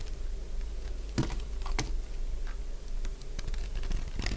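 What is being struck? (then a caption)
Bar soap cut with a metal blade. A narrowing piece of solid, cream-coloured dry bar soap, held in the hand, is cut with a metal blade. Short, dry crunching snaps pop out over a steady low hum, with sharp clicks standing out near the middle and end.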